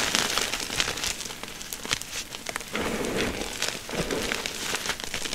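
Bare chalk-covered hands squeeze, crush and rub a large heap of crumbled dyed gym chalk (magnesium carbonate) blocks, powder with small chunks, in a shallow container. The result is a dense, bright crunching and crinkling texture, with many sharp little crackles and ticks riding over a steady gritty rustle throughout.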